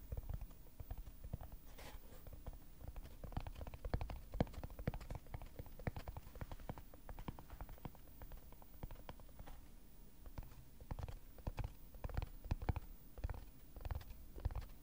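Fingertips and nails rapidly tap a small, hollow, empty, closed red flocked cardboard gift box, with a red velvety lid and a cream textured-paper base, held in both hands close to the microphone. The result is a continuous patter of soft, dull, low thumps that die away instantly, with occasional brighter clicks from the nails.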